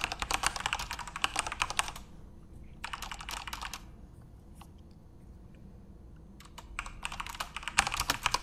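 Fingertips type on a full-size RGB-backlit Corsair mechanical keyboard with plastic keycaps, producing rapid, bright, clicky keystrokes in bursts. Typing runs for about two seconds, pauses, resumes briefly, then breaks into a few scattered taps over a low background hum. A final flurry of quick keystrokes closes the clip.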